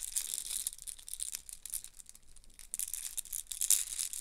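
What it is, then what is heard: Plastic chain. A yellow plastic link chain with hollow links is shaken and handled with the fingertips, so the links rattle against each other. The result is a quiet, dense stream of bright, crisp clicks and crinkly rattling that thins out briefly midway, then returns more busily, with its sharpest burst near the end.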